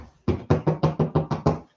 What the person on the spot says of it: You can hear me tapping on my ceiling.